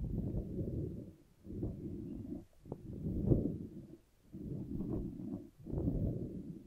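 A hand-sized green soft silicone/rubber puffer ball with many floppy spikes is squeezed and squished in one hand beside the microphone. It gives a soft, solid, squelchy rubbing sound in five low, muffled bursts separated by brief pauses, with almost nothing in the high range.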